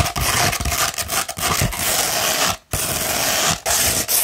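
A coarse 60-grit sandpaper sheet, rolled into a hollow cone, is scratched with long red nails. The result is a dense, bright, gritty rasping that runs almost continuously, broken by a short silent gap near the middle and a brief dip shortly after.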